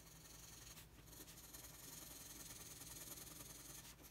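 A red wooden colored pencil rubs across a flat, thin sheet of white drawing paper on a table in continuous shading strokes. The result is a soft, steady, bright scratchy hiss with faint rhythmic strokes and brief dips in the scraping.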